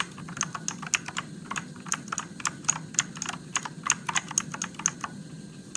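Fingertips type steadily on a Motospeed RGB-backlit mechanical keyboard with plastic keycaps and blue switches, producing about 25 sharp, bright clicks over a faint low hum. Each keystroke is crisp and dies away at once, with no ring between presses.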